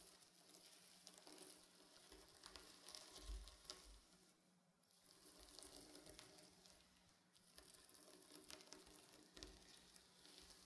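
Painted fingernails scratch and drag across a reversible blue and silver plastic sequin pillow, drawing silver lines as the sequins flip. The sound is a dense, bright, crackly rasp of tiny plastic clicks. It swells in long strokes with brief quieter dips between passes.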